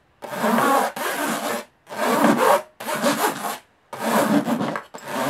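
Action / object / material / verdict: scrape / aluminum carry case / aluminum / none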